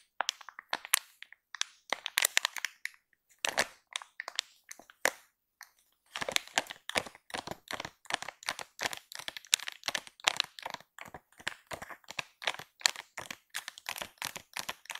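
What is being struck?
Soft plastic film pack of baby wipes.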